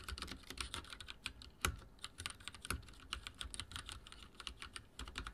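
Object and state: Mechanical keyboard typing.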